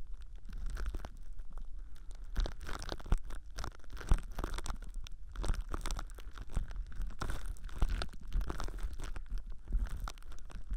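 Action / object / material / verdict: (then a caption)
scrape / plastic cling film / plastic film / none. Thin, clear plastic cling film wrapped around a binaural ear microphone is squeezed and crinkled by fingertips while a hand rests on top. The result is continuous, close-up crackling and crinkling in quick, irregular bursts over a deep, muffled rumble, with bright crackle textures throughout.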